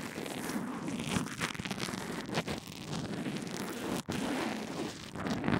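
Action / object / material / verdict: scrape / earphone microphone wrapped in a fabric bandage / fabric bandage / none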